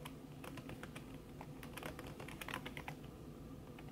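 Fingertips with long red nails type fast on a backlit laptop keyboard in a silver aluminum body, its keys covered by a thin red silicone skin. A steady stream of soft, muffled taps and brighter nail ticks runs over a low background hum at an even, quiet level.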